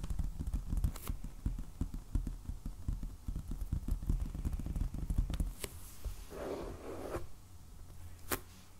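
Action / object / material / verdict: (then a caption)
tap / hardcover sketchbook in plastic shrink wrap / cardboard / none. Fingertips and nails of both hands slowly tap on a medium, solid black hardcover sketchbook in plastic shrink wrap lying on a table. Dull, low thumps come in a quick, uneven patter, with a few sharp bright clicks from the nails. Toward the end the tapping thins out and a brief crinkly rustle of the wrap is heard.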